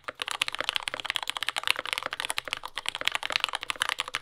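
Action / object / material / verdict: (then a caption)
tap / mechanical keyboard with plastic keycaps / plastic / none. A compact J-01 mechanical keyboard with lubed yellow Gateron Ink switches, dark brown plastic keycaps and a carbon fiber plate, resting on a desk mat, is typed on continuously with the fingertips of both hands. A rapid, steady stream of short, bright clacks sounds with almost no low end, each keystroke dying away instantly.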